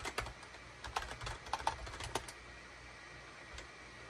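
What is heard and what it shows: A SHIPADOO K600 full-size wired USB keyboard, with a gray plastic hollow case and cream, gray and orange plastic keycaps, sits on a desk mat and is typed on rapidly with the fingertips of both hands. Sharp, hollow plastic key clicks with a mid-range tone around 900 Hz and bright tops come in quick bursts over the first two seconds or so. The typing then gives way to a low steady hiss, with one faint tap near the end.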